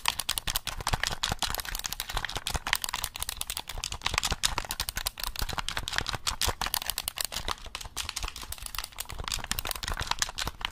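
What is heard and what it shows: A black hollow plastic gamepad is held close to the mic while fingertips press and tap its buttons and triggers in quick clicks. The clicks are dense, dry and bright, with a light hollow low thump under them, each dying away almost instantly, in a steady, irregular clatter that runs the whole clip.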